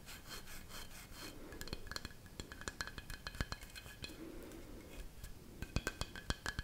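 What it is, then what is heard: Carved wooden figurine. Long nails tap and rub along a dark brown carved wooden figurine, a tall, solid sculpture about 30 cm high held in one hand. Soft, breathy rubbing strokes alternate with quick, dry taps and sharp clicks that stop almost instantly. A faint bright ringing tint runs through the sound.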